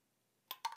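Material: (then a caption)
Metal. A metal ball bearing drops into a mini spray bottle as mirror spray is poured into it from the original bottle. Two short, bright metallic clicks sound about 0.15 seconds apart after near silence, each with a tone around 900 Hz that fades almost at once.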